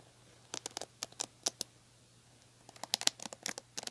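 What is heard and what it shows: Long painted nails scratch and pluck the ball-tipped plastic bristles of a large red plastic paddle hairbrush with a black cushion, held by the handle. About 16 short, bright, crisp clicks and scratchy plucks come in two quick clusters separated by a brief quiet pause, with almost no low end.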